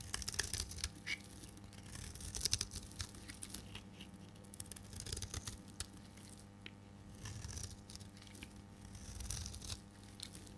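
A solid dark green dry bar of soap, held in the hand, is shaved with a metal blade into thick curls. The scraping and cutting make bright, crackly, tearing bursts that come in waves, over a steady low hum.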